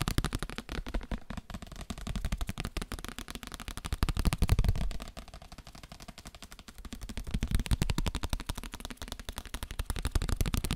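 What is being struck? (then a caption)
Paper book. A paper book is tapped in a rapid, uneven stream of short, dull taps that are heavy in low thud with little brightness. The tapping swells louder around the middle, drops to a softer patch, then builds again toward the end.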